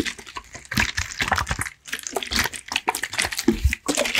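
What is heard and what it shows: A clear plastic water bottle with a red cap and white label, partly filled with water and held in one hand, is tapped, scratched and shaken by fingertips. Quick, crackly plastic taps and bright scratching come in fast clusters with light sloshing of the water. Two brief near-silent pauses break up the bursts.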